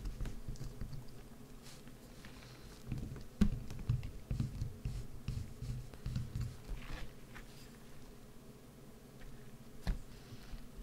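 A solid green bar of soap, held in the hands, is carved with a wood-handled gouge. Soft, low scraping and scratching strokes come in irregular bursts, with a few sharper clicks standing out. Quieter stretches fall between the bursts.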